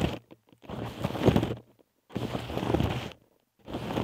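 Long acrylic nails tap and scratch the front of a small, soft, hollow blue nylon Disney Stitch mini backpack held over the microphone. Soft, low scratchy rustling rises in long swells of about a second each, separated by brief quiet pauses and a few faint taps.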